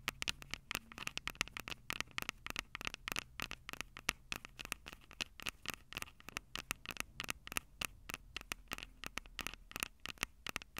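Long purple acrylic nails scratch and tap the two metal-grilled microphone capsules of a Tascam DR-05 handheld recorder with a plastic body. The result is a quiet, rapid run of sharp, dry clicks and scratches that stop instantly, bright and centered around 2.7 kHz, over a faint low hum.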